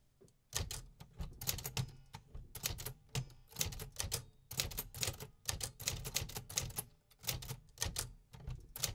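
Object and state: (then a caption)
Metal manual typewriter keys. Fingertips tap the metal keys of a vintage 1950s manual typewriter repeatedly, producing a steady run of sharp, bright mechanical clacks. Each strike lands with a low thump from the machine body and stops quickly with almost no ring, in uneven bursts.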